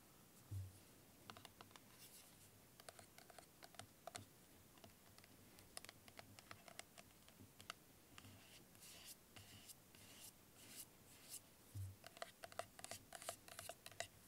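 Fingernails tap and scratch a small translucent plastic bottle of vitamin E oil, full of liquid, with a white cap and a yellow paper label. Dozens of quick, crisp taps and dry scratching strokes sound at a low level, with two soft low thumps near the start and late in the clip. The clicks are bright and die away almost instantly.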